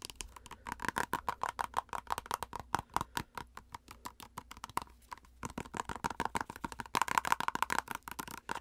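A plastic cosmetic squeeze tube is tapped rapidly on its front and edge with long acrylic nails. The result is a fast, uneven stream of sharp, dry clicks with a hollow plastic tone around 950 Hz. Each click dies away almost instantly, with a brief lull near the middle before the tapping picks up again.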